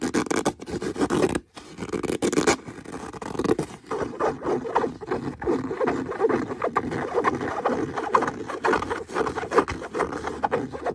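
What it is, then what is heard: Leather boot being scratched. Fingernails scratch and scrape the smooth leather of a brown leather boot. Dry, rapid scratching strokes run almost continuously, mostly in the midrange with little low end, pausing briefly near the start before resuming in a steady rustling texture.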